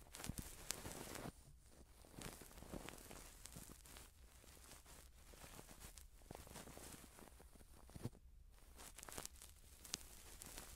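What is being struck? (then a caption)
Silicone ear model and cotton swab. A cotton swab on a long wooden stick is rubbed inside the ear canal of a soft silicone ear model held in the hand, with a pin microphone behind it. Close, quiet scratchy rustling and crinkling fill the clip, with bright hiss, occasional sharper scrapes and clicks, and a steady low hum underneath.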